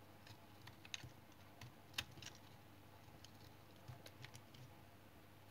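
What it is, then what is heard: Household soap bar being shaved with a knife. A small knife shaves flakes off a palm-sized, solid, light brown household soap bar held in the hand. Quiet, short, irregular scraping cuts sound as dry, bright scratches over a low, steady background hum, with one sharper cut standing out near the middle.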